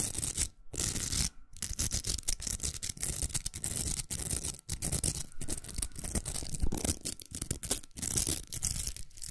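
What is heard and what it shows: Long nails scratch the outer velcro hook surface of a large, hollow, pink plastic hair roller. The result is a continuous rough, raspy scratching with a low, hollow body and bright crackle on top, broken by a few short pauses.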